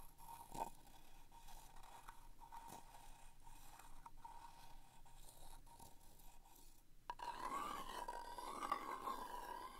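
A wooden stick scratches and taps along the side wall and flat bottom of a small, round vintage cardboard paper fastener box. Quiet, dry scraping runs under a steady faint tone near 1 kHz, with occasional light taps. After about seven seconds, the scratching turns louder, denser and rougher until the end.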